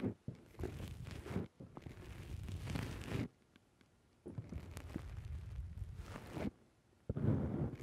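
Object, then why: Foam microphone windscreen. Fingertips press and pinch the black foam windscreen on a microphone, producing dense, low, muffled rustling and crunching. The squishing comes in four sustained bursts separated by near-silent pauses.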